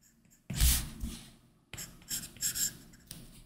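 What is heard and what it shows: A plastic Apple Pencil tip scratches and lightly taps across a flat iPad Pro glass screen fitted with a matte screen protector while drawing a shoe. It makes dry, papery stroke scratches with soft low thumps and bright hiss. A strong stroke starts and fades, then several shorter scratchy strokes and taps follow after a brief pause.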